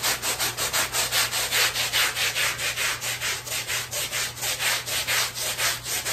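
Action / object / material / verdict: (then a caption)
scrape / small woven fabric rug scrubbed with a stiff-bristle brush / fabric / none. A long-handled black stiff-bristle brush scrubs a small, flat, patterned woven fabric rug that is wet and soapy on plastic sheeting. Steady back-and-forth strokes, roughly two per second, make a bright, hissing, bristly rasp that swells and fades with each pass, over a faint low hum.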